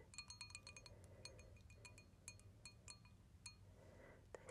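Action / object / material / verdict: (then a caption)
shake / small glass cup with stones inside / glass / none. A small clear stemmed glass cup holding a few small stones or beads is tilted and swirled in long dark-painted nails, so the stones clink against the hollow glass. Quiet, bright, very short clinks with sharp high ringing tones come in quick clusters over a soft low background hum.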